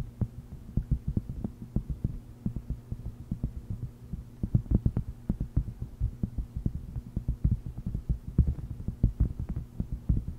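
Long red nails tap and scratch the textured surface of a thin, solid, flat round purple silicone honeycomb trivet mat lying on a fluffy microphone cover. The result is a rapid, irregular stream of soft, dull, bass-heavy thumps with almost no ring, over a steady low hum.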